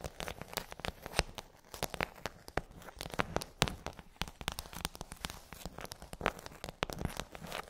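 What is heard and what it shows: Long acrylic nails tap and scratch across the rows of hollow half-sphere domes on a pink rigid plastic tray. A dense, uneven stream of sharp, dry clicks mixes with bright, crackly scraping. Each tap cuts off almost instantly, leaving a quiet, crinkly texture throughout.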